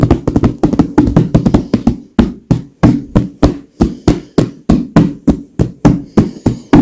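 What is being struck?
Filled leather pillow.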